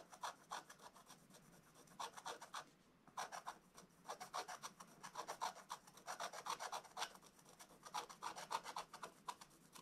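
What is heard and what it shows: A wooden stylus scratches a black-coated scratch-art book page in short, rapid strokes. The result is a dry, raspy scraping with bright edges, coming in quick bursts with a brief pause near the three-second mark.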